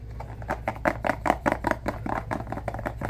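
Fingertips and nails tap a small, clear, hollow plastic case that appears empty, held in both hands. A quick, uneven run of short, dry, hollow clicks with a midrange tone sits over a steady low hum. Each tap stops almost at once with no ring.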